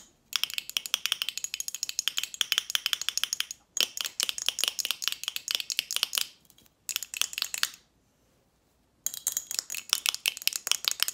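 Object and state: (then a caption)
Glass bottle with metal cap. An apparently empty glass Snapple bottle with a metal cap is tapped rapidly with long nails on the glass and the lid. The sharp, bright clicks and clinks come in four fast bursts separated by short pauses, each tap dying away almost instantly.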